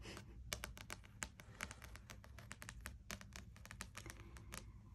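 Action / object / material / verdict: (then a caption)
tap / spiral-bound paperback puzzle book with card cover / card / none. Long nails and fingertips tap quickly across the glossy card cover of a closed spiral-bound paperback wordsearch puzzle book lying flat on a wooden desk, in a typing-like pattern. A rapid run of short, dry, bright clicks with almost no ring sits over a steady low hum.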